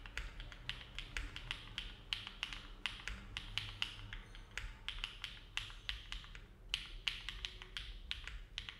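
A compact Neo70 mechanical keyboard with an aluminum case and plate, foam filling and hollow ABS keycaps rests on a desk mat while the fingertips of both hands type with steady key presses. The result is a continuous stream of short, bright, clacky taps centered near 3 kHz that die away almost instantly, over a faint low background hum.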